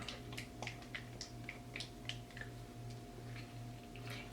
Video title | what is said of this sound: NEW! Loreal Infallible Pro Glow Foundation FIRST IMPRESSION - Francesca Regina | shake it up. It sounds very liquidy.